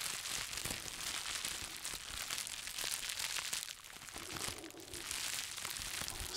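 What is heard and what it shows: A bundle of plastic bubble wrap, held in both hands, is squeezed and rubbed by the fingers. It makes a steady, dense crinkling and crackling that is bright and high with little low end. The sound eases briefly near the four-second mark before the crinkling picks up again.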